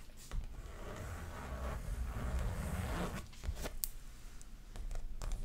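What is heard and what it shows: Long nails scratch and tap the surface of a framed, stretched canvas dreamcatcher print held upright. A steady, low-heavy rasping scrape fills the first few seconds, followed by a run of short, sharp taps with brief bright clicks.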